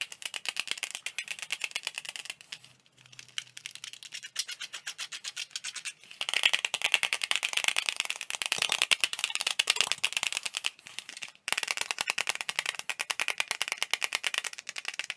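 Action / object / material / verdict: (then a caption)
tap / clear plastic CD jewel case / plastic / none. Fast fingertip tapping on the surfaces of a small, hollow, transparent plastic CD jewel case held in both hands makes a dense stream of bright, dry clicks with almost no ring. The tapping runs quieter for the first few seconds, dips near 3 s, then grows louder from about 6 s, with a brief gap near 11 s.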